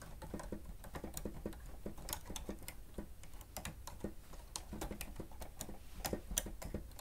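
Fingertips and nails of both hands rapidly press the keys of a grey plastic stenotype machine with a screen. The typing makes a quick, uneven run of short, dry clicks and taps with bright edges over a steady low hum. Each click stops almost at once.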